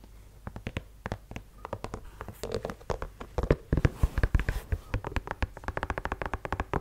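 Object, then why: Leather sneaker with rubber sole. Fingernails tap and scratch on a white low-top leather sneaker, across its leather-look upper and rubber sole. Many quick, dry clicks come in uneven bursts with brief scratchy rubs between them, growing louder and denser partway through before settling into a steady run of taps.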